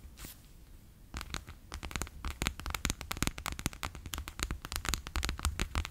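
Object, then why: Clear PVC pouch filled with water beads. A bear-shaped clear PVC pouch full of water beads, first held in the hand and then laid flat on a table, is tapped with fingertips and long nails. After about a second of near silence, a fast run of sharp, sticky, crackling taps starts and keeps going, each one dry and short with a bright snap over a low thud.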